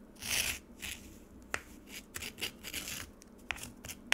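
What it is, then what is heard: Frozen lemonade scraped with a spoon. A metal spoon scrapes the surface of a frozen lemonade slab in a black plastic tray, piling up slushy shavings. Soft, bright scraping swishes alternate with a few sharp, dry clicks as the spoon catches the icy surface, all at a quiet level with almost no low end.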